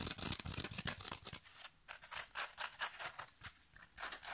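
Fingertips and nails scratch and squeeze a yellow foam kitchen sponge with a green scrub layer. Quick, irregular bursts of bright, crackly scratching come at a fast pace, with short pauses where the rasping thins to a soft hiss. Each scrape stops almost at once with no ring.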